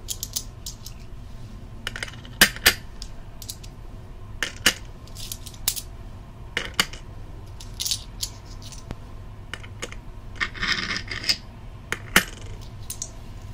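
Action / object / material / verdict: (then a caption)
drop / small metal coins / metal / none. Small metal coins are picked up with the fingertips and dropped one by one onto a growing stack resting on top of the microphone housing. They clink against each other in short, bright metallic ticks that die away almost at once, scattered irregularly over a faint steady low hum.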